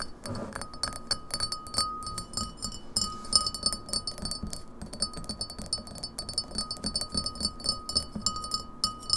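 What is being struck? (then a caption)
Glass pint glass. Long nails tap fast on the sides of a clear, printed, empty beer pint glass standing on a table. The rapid, uneven taps make bright clicks and clinks with short, high glassy rings over a faint, steady tone.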